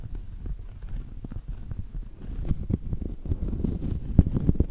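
A smaller round solid cork coaster is held at an angle while long acrylic nails tap and scratch its face and rim. Soft, dull, low thuds with very short decay mix with a rough scratching texture in an irregular rhythm, growing slightly louder and busier toward the end.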